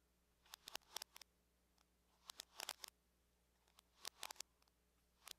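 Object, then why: Aluminum laptop lid tapped with fingernails. Long nails tap on the lid of a closed silver aluminum laptop, using both hands. Quiet, bright, sharp clicks come in irregular bursts of quick taps separated by brief pauses. Each tap dies away almost instantly, leaving only a faint low hum.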